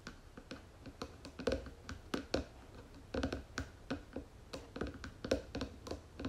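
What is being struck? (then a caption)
Wooden jewelry box lid. Long nails rapidly tap the flat wooden lid of a round wooden jewelry box with gold trim. The result is a quick, irregular run of short, dry, woody clicks with a low hollow knock, each dying away almost at once.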